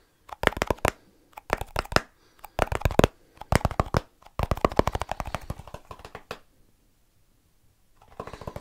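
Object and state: Plastic snus tin.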